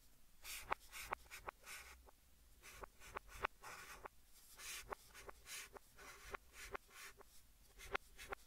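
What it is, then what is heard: Chalk writing on a chalkboard. White chalk held in the hand scratches and writes letters on a large, flat green chalkboard in a wooden frame, with the sound played in reverse. About 17 sharp, clicky chalk taps stand out between soft, bright, hissing strokes, and each tap dies away almost instantly.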